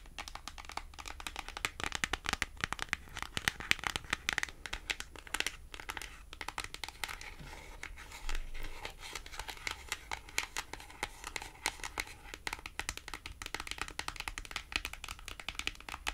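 A small, thin, flat white printed cardboard price tag is tapped, scratched and flicked with long acrylic nails. The clip is a steady run of quick, dry, crisp clicks and papery scratches with a bright crinkling edge and no ring. A low hum sits underneath, and a short rough scrape stands out near the middle.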